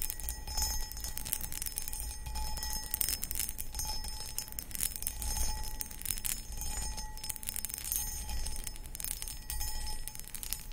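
Long acrylic nails scratch the textured surface of a medium, hollow, empty cut crystal footed pedestal bowl. The result is a steady run of bright, crackling scratches and taps, with a faint ringing tone from the glass over a low background rumble.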